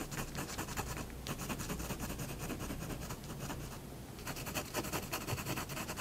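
A fine pigment fineliner pen draws scratchy hatching strokes on a cat drawing on a large white paper sheet lying flat on a wooden desk. Rapid, irregular bright scratches repeat throughout over a low background rumble, easing briefly in the middle before returning louder and brighter toward the end.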